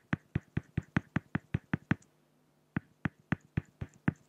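A pen tip strokes lines across a flat, solid acrylic glass (plexiglass) sheet, making quick, evenly spaced dry taps with very little ring. About ten strokes come in a steady run, then after a brief pause about seven more follow. Each stroke is a short, dull, low-heavy tick with a faint hiss.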